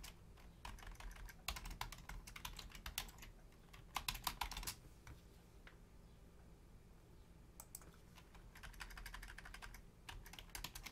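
Both hands type on a black plastic Logitech full-size keyboard with long nails and fingertips, reaching toward the right-side keys at the end while the mouse stays untouched. Irregular bursts of quick, bright plastic key clicks rise over a steady low hum, with the loudest flurry around four seconds. A quiet gap follows before the typing picks up again to the end.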